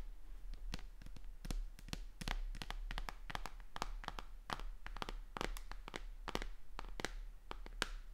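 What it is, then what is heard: Plastic tablet tapped with nails. Long dark-painted nails tap and scratch along the edge and back of a thin white tablet, a flat, hollow electronic device with a plastic frame and glass screen, held upright in one hand. Rapid, sharp, bright clicks with almost no ring come in an irregular stream over a quiet, low background hum.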